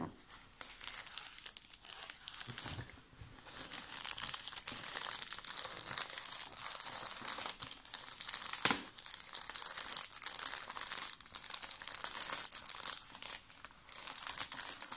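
A large clear PET water bottle filled with water is gripped and squeezed by hand with fingertips and nails, its thin plastic walls giving off dense, bright crinkling and crackling for the whole clip. The sound is mostly high-pitched, with little low end, and rises and falls in uneven bursts with a few brief pauses.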